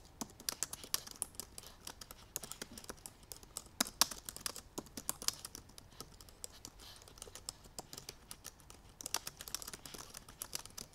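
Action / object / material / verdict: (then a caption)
tap / laptop keyboard with plastic keys in an aluminum body / plastic / none. Fingertips and painted nails of both hands type quickly on the black plastic keys of a silver aluminum MacBook Pro keyboard. Dense, irregular bursts of light, bright clicks and taps stop short with no ring. A few sharper strikes stand out over a quiet background.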